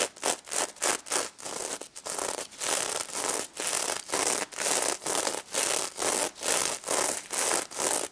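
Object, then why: Plush toy covered in plastic sequins. Long red nails scratch and rub the plastic sequins covering a pink stuffed pig toy. The result is a series of bright, crisp, rustling scratch strokes, short and quick at first, then longer, steadier sweeps repeating about once per second.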